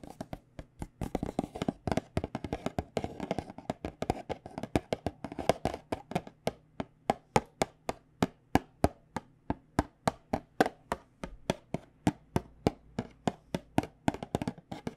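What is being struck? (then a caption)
Small cardboard tea box. A small white cardboard box of tea bags, held in hand, is tapped with long painted nails in a rapid, continuous stream. Each tap is a dry, hollow click centered around 850 Hz, with almost no ring and little bright content, backed by a faint low hum. The taps come densely at first, then settle into a more evenly spaced, steady rhythm.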